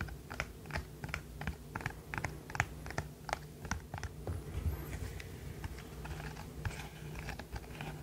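A rainbow silicone pop-it fidget toy is held close to the microphone while its bubbles are pressed and popped with the fingertips and the toy is squeezed in the hand. Short, dry pops and soft clicks come at an uneven pace, with faint squeaky rubbing in between, over a low, steady background hum.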